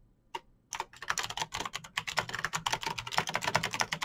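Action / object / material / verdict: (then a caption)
tap / plastic mechanical keyboard with clicky switches / plastic / none. Fingertips type fast on a backlit plastic Razer BlackWidow mechanical keyboard with clicky green switches. One lone click comes first, then a quick, uneven stream of sharp, bright clacks with short, dry decays.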